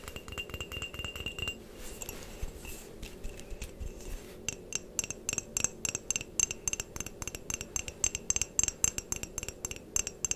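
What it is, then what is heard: Ceramic mug tapped with fingernails. A medium white ceramic mug with a printed design, hollow and apparently empty, is held close and tapped on its outer surface with long painted fingernails. The taps are quick, dry, bright clicks with a faint high glassy ping and almost no ring, softer and scratchier in the first few seconds. They then settle into a steady run of crisp, closely spaced taps.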